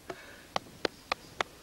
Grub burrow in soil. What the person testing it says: That's a bad hole. Different sound. That's dead.